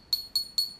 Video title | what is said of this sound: Big Nasty Clone and a GIVEAWAY | very tinny it's not super nice it's just kind of a thin lock ring